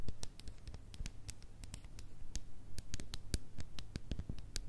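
Long nails tap and scratch a small plastic slime tub with a blue swirl lid, mostly on its ridged plastic lid. Many quick, bright clicking taps mix with soft scratching over a low, steady rumble.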